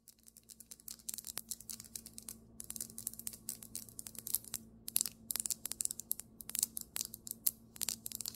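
Both hands tap and scratch fast on a flat, solid white marble table top with long nails and fingertips. Dense, rapid clicks and scratches are bright and crisp, sitting mostly in the high frequencies with almost no ring. A steady low hum runs underneath.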